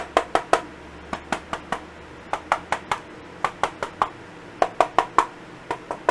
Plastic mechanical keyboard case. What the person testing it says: it sounds hollow on the right side here